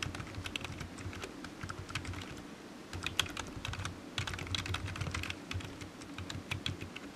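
Fingertips of one hand tap the keys of a solid black low-profile plastic computer keyboard resting on a desk mat. A steady run of quick, bright, clicky keystrokes with very short decay sits over a soft low rumble, with a few louder taps standing out.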